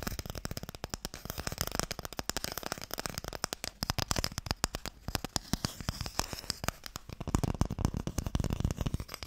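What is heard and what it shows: Fingernails tap rapidly on the printed lid of a small, long, hollow wooden Mikado box. The result is a dense, continuous patter of short, dry clicks with a hollow low thump beneath them. Each click dies away almost instantly.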